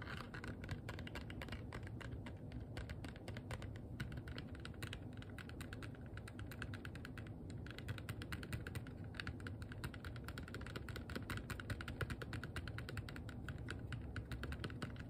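Long nails tap fast and steadily on a small, hollow, empty box of clear, rigid plastic. The result is a dense, continuous stream of short, dry clicks with a soft, low, hollow thud under them. Each tap dies away almost at once.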